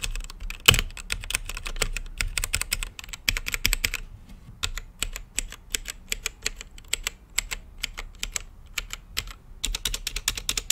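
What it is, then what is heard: Mechanical keyboard with plastic keycaps. Fingertips type steadily on a full-size mechanical keyboard with Gateron brown switches and plastic keycaps on a translucent RGB-lit case. The keystrokes are quick, bright, clacky taps with a soft low thud beneath and a very short decay, running in bursts with brief pauses.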